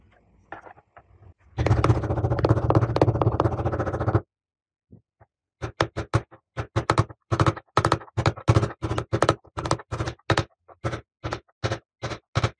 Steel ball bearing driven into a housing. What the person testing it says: 音が変わるのがわかるはずです。「カチッ」という音がするまでハンマーで打ち込みます。